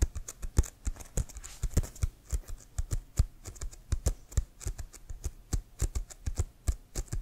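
Fingernails tap and scratch the pebbled leather of a hollow, inflated American football held upright. The result is a quick, irregular run of short, dry taps, each a low hollow thump with a bright click on top, with soft scratching in between.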